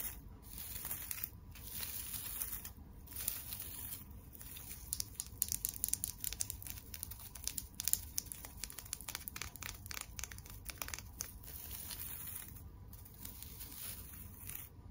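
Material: Plastic tinsel.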